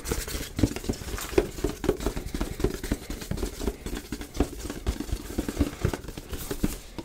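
A medium-size black printed cardboard box for a Yeti microphone, held in the hands, is tapped and scratched with fingertips and nails. Quick, irregular, dull taps with short scratchy patter sit mostly in the low and low-mid range and die away almost at once.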